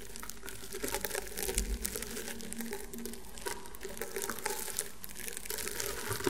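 Fingertips and nails scratch and rub across the coiled weave of a flat, round woven rattan table mat. The result is a steady, dry, crinkly scratching with bright, crackly high detail and a faint low rumble underneath, swelling into brief louder rasps as the strokes continue.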